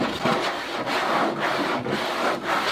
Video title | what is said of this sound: Cage Unboxing Review - Kaytee Crittertrail "Super" Habitat - Munchie's Place | this is a different more abrasive material